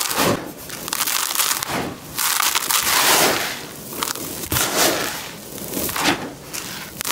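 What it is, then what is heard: Dry crushed concrete grit. Fingertips and palms scoop and crush dry grey concrete grit in a plastic tub, then let it sift out of the hands. The result is bright, gritty crunching and crackling that swells and fades in waves, with a dry hiss as the grit trickles back down.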